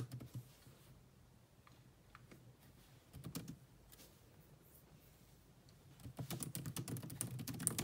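Long nails and fingertips type on the black plastic chiclet keyboard of a grey laptop, making short, dry key taps with a soft low thud under bright clicking edges. A few taps open the clip, a brief cluster comes near the three-second mark, and a faster, louder flurry of typing fills the last two seconds.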